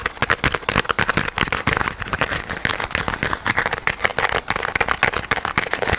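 A small, soft yellow rubber squishy toy shaped like a pineapple, with a textured surface, is held close to the microphone and squeezed and scratched with fingertips and nails. It makes a dense run of quick, dry crackling and scratching bursts, bright and centred in the upper mids, with little low end and almost no ring after each scrape.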